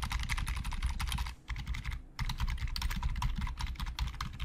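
Both hands type with their fingertips on a black plastic Logitech full-size keyboard with hollow plastic keys resting on a glossy desk, tapping the keys in quick runs. The clicks are dense and bright over a hollow low thump, each dying out almost instantly. A brief lull breaks the run around the middle before the fast typing resumes.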